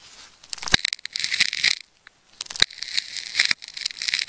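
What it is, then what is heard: Plastic tape ball being cut. A craft knife blade cuts and scrapes through the layers of a hand-sized solid ball of wound red, orange, white and teal plastic adhesive tape, held in the fingers, working toward its yellow core. Bright, crisp crackling and tearing bursts come with sharp high snaps, broken by a short silent pause midway.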